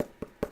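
Light taps on a homemade foam costume chest plate, shown front and back, give short, dull, hollow knocks with a midrange body that die away almost at once and carry little high end. The foam plate sounds like plastic, and metal strips are planned to give it weight.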